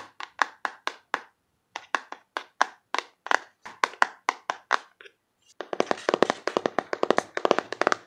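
A closed, hand-sized rectangular printed cardboard box of cards is tapped with fingertips and nails on its front and back. Crisp, dry, hollow taps come in a steady rhythm, pause briefly around five seconds, then return as a faster, denser flurry of brighter clicks.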